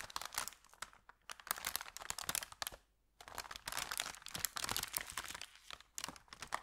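An empty, thin, crumpled kraft paper bakery bag is held at its edges while fingers bend and crinkle it. Dense, bright crackling and rustling bursts run throughout, with a brief near-silent pause around the three-second mark before the crinkling resumes.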